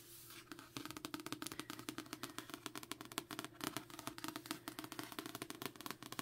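Long nails rapidly tap and trace across the glossy card cover of a solid paperback copy of Assassin's Apprentice held in the hand. It makes a fast, steady run of crisp, bright clicks with light scratchy strokes between them. Each tap dies away almost instantly over a faint low hum.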